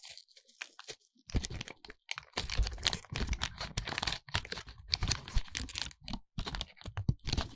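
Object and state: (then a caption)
Foil-lined paper wrapper being crinkled. Bare fingertips unfold, crinkle and peel open a crinkly silver foil-lined paper wrapper around a small, solid white bar of soap. Dense bursts of bright crackling and tearing rustles come in quick clusters with brief pauses, underlaid by soft, low, dull bumps from the handling.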